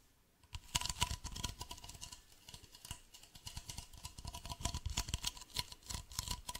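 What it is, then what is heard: Plastic bottle. A medium white hollow plastic bottle, held sideways, is scratched and tapped with fingernails. Quick dry clicks and scratches in rapid, uneven bursts begin after a brief silence, with bright crisp edges, a soft hollow low thump, and a faint steady tone near 1 kHz throughout.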